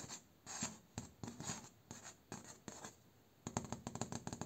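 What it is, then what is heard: Bamboo slat door. Fingertips and short nails scratch and tap rapidly across the slats of a bamboo slat door, with the hand moving close up. Bright, papery scratching strokes come in separate bursts with quiet gaps, then give way to a quick run of sharp, dry taps with a woody low-mid body.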